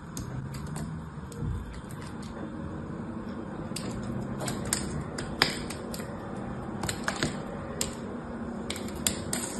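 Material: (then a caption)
Soap. A small knife cuts and scrapes the remaining piece of a blue-painted dry soap bar, held in the hand, into crumbly chips. Sharp, bright clicks and snaps break through a steady, soft scraping hiss over a low background rumble. The crisp cuts stop quickly with almost no ring.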